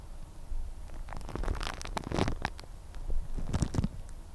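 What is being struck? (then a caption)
Plastic cling film wrapped on a microphone. Long red-painted nails scratch and crinkle thin clear plastic cling film wrapped around the head of a microphone. Close, muffled crinkling and scratching comes in uneven bursts over a heavy low rumble, with brief bright crackles at the louder moments.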